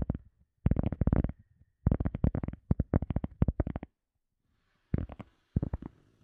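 A round, solid, hand-sized teal EVA foam sponge disc is held close to a microphone and tapped and scratched with long fingernails and fingertips. Quick runs of soft, dull, low-pitched thuds come in bursts separated by short pauses, with a faint scratchy hiss near the end. Each tap dies away almost at once.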